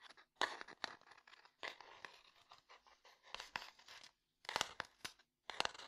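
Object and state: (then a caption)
Wooden box, tapped and scratched. Fingertips and nails tap and scratch the wood of a small, closed, rectangular light wooden box labeled DOMINO, likely full of dominoes. Dry, bright, crackly scratching comes in bursts, punctuated by sharp, quick taps with no ring. Short silences fall between the bursts.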